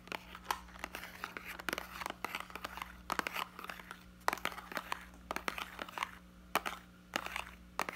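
Fingertips squeeze and crinkle a small, hollow, clear plastic blister pack of yellow hot-glue sticks on a cardboard backing card, held close in both hands. Dense, sharp crackles and crinkles come in irregular bursts with bright, high edges over a steady low hum.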